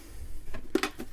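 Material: Metal.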